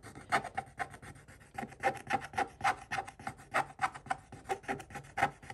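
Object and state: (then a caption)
Scratch-art paper page being scratched. A pointed wooden stick held in the fingers scratches quickly across a scratch-art paper page in a spiral notebook. About two dozen short, dry rasping strokes come in an uneven, fast rhythm, each with a scratchy midrange tone and a bright hiss and almost no ring.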